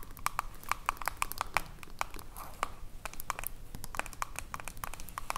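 Long acrylic nails tap and scratch a small, full glass jar of pale green body lotion with a silver metal screw lid. Quick, dry clicks with a ringing tone near 1 kHz and bright tops come in an uneven stream, mixed with soft scratching between them. Each tap dies away almost at once, over a low background hum.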